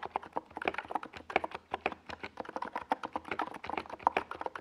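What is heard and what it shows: Fingertips of both hands type steadily on a NiZ Plum Atom 68, a compact 68-key mechanical keyboard with a white plastic case and purple and yellow Domikey Gas Attack SA plastic keycaps, resting on a purple desk pad. A quick, uneven stream of short, dry plastic clacks sits mostly in the midrange, with almost no bass, and each keystroke dies away instantly.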